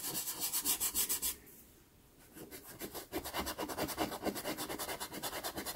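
A cotton swab is rubbed back and forth over the pastel layer around a drawn eye on a small taped sheet of sanded pastel card (Pastelmat) to blend it. Quick, bright, scratchy rubbing strokes come in a steady rhythm, pause briefly near the middle, then pick up again.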